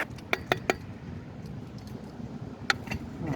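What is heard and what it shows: A storm-damaged, rusted tennis court post that was sheared off is tapped to check whether it is hollow. Three quick, bright metallic clinks ring out, then one more a couple of seconds later, over a steady low rumble. The post turns out to feel like hollow aluminum rather than the expected steel filled with concrete, probably set on a steel anchor.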